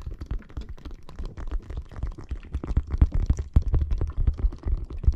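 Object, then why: Plastic bag filled with water beads. A clear plastic bag filled with red water beads lies on the microphone while long nails scratch and tap across its surface. The result is a dense, irregular stream of soft, squishy, low-pitched thuds and rumbles, about four per second, with almost no high end and very short decay.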